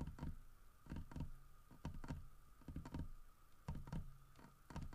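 Fingertips and nails tap the grooved side of a large, solid carved wooden bear statue. The result is an irregular series of short, dull, low knocks with very little ring, in small clusters over a faint steady hum.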